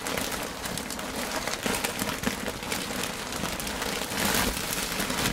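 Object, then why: Kraft packing paper in a cardboard box. Hands with long pointed green nails scratch and tap thin, lightly flecked, crinkled brown kraft tissue paper lining an open cardboard box. The result is a steady, dense, bright crackling rustle, like rain on a surface, with a few slightly louder taps poking through.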